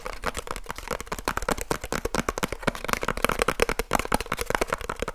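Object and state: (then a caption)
Cardboard box tapped with fingertips. Fingertips rapidly tap the flat face of a small, hollow cardboard light bulb box held in both hands close to the mic. The result is a fast, uneven stream of short, dry, hollow taps with a papery knock around 500 Hz and almost no ring after each hit.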